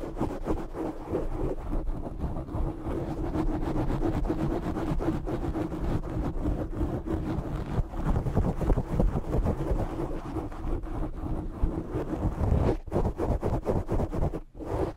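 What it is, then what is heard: Foam microphone windscreen being scratched. Short fingernails on both hands scratch a soft, porous black foam windscreen covering a large USB condenser microphone. The result is a continuous, dense, muffled rumbling crackle, heavy in the low end with almost no high content. It holds steady throughout, with a brief drop near the end.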